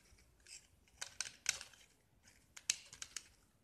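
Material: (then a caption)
Gypsum. A metal utility knife blade scrapes and carves the white surface of a small, solid gypsum block with yellow painted edges. About nine short, crisp scraping strokes come in uneven bursts, bright and dry with almost no low end and no ring, separated by quiet pauses.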